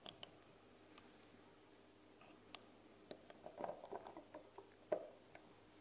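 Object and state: Plastic dropper cap on a small glass bottle.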